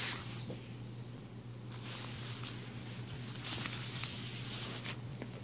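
Fingers pull the teal plastic zipper open and closed along a small patterned fabric pencil case. The result is quiet, bright, raspy zipping strokes with a few sharper ticks, over a steady low hum.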